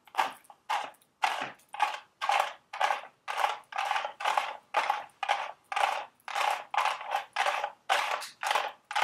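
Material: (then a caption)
Cardboard. Long red acrylic nails tap and scratch the sides of a small, hollow, printed cardboard Dubble Bubble gum Easter eggs candy box standing on a table. A steady series of crisp, papery scratching bursts follows, each peaking around 850 Hz with a bright hiss on top, no low end, and a quick fade.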